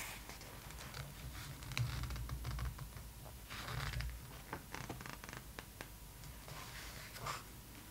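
Long nails tap and trace over the pages of an open glossy paper magazine lying flat, making soft scratchy strokes and scattered sharp ticks. A single page flip in the middle brings a louder rustling sweep, before the tracing and tapping continue quietly.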